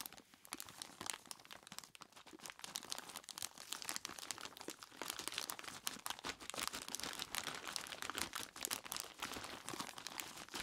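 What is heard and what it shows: Both hands squeeze and rub a large clear plastic bag full of ice cubes with their fingertips. Dense, bright crinkling of the plastic mixes with crunching of the ice in rapid, closely packed bursts. The sound runs continuously and quietly, with almost no low end.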